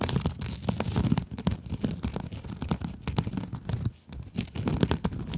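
Long acrylic nails scratch across a small pink scrub sponge with a sparkly glitter mesh surface. The result is a dense run of rapid, crinkly, tearing scrapes with a soft low rumble beneath, pausing briefly near the four-second mark before the scratching resumes.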